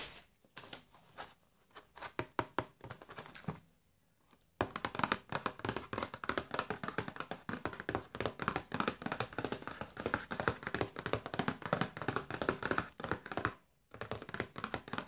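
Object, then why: Cardboard food box. Fingertips and nails tap rapidly on the front face of a flat, printed, full-looking cardboard box of Findus Capitan Croccole frozen breaded fish held in one hand. The dry, hollow taps are short and quickly damped, with sparse tapping at first, a brief pause, then a dense, irregular run and another short gap near the end. Faint music sits underneath.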